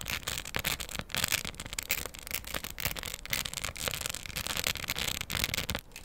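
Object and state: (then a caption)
Plastic rhinestone coaster. Long stiletto acrylic nails scratch and tap the beaded surface of a round, flat, solid floral diamond art coaster covered in plastic rhinestones, held in both hands. The result is a dense, continuous stream of crisp, bright clicks and dry, scratchy rasping with no ring-out after each hit.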